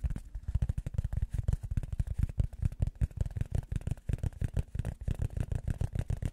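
Fingers tap rapidly on a piece of rubber foam, making a quick, steady run of soft, dull, low thuds. Each tap dies almost instantly with no ring, and there is almost no bright or high sound.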